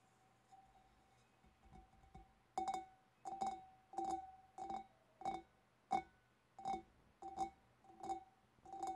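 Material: Glass.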